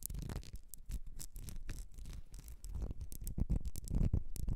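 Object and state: Ribbed glass perfume bottle.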